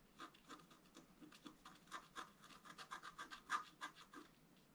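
A wooden stylus scratches lines into a flat black coated scratch art paper board, making about nineteen short, quiet strokes in quick, uneven succession. Each stroke gives a dry, raspy scrape centred around 1.2 kHz, with a bright edge and almost no low end.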